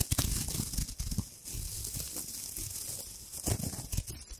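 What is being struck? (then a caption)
Metallic foil wrapper. A hand-sized gold metallic foil wrapper is scrunched and crinkled with long nails right beside the mic. It makes close, dense crackling and tearing-like rustles with bright, hissy crinkles over soft low thumps, with sharper bursts near the start and again toward the end.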